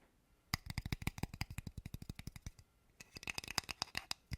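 A small old PlayStation 2 memory card is tapped and handled close to the mic, giving a quick run of short, dry clicks and taps. The clicks come in two bursts separated by a brief pause, with bright high-pitched ticks over soft low thumps.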